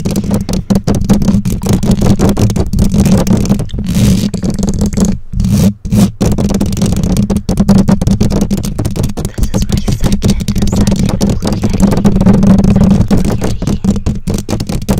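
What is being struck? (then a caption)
Metal mesh microphone grille. Long nails scratch and tap the bare black metal mesh grille of a condenser microphone, producing a dense, close, low-heavy rumble of rapid scrapes and taps with a steady hum near 200 Hz. The texture runs almost continuously, dropping out briefly around the fifth to sixth second before resuming at full strength.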